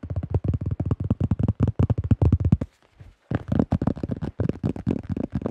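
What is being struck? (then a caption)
Thin plastic flying disc. A hollow, thin-walled cream plastic disc golf disc with a teal rim and a printed drawing, about 20 cm across, is held in both hands in front of the microphone and rapidly tapped and gripped with the fingertips. The result is a fast stream of short, dull, hollow taps, mostly low in pitch with almost no brightness, about two dozen in all. The tapping pauses briefly near the three-second mark and then resumes.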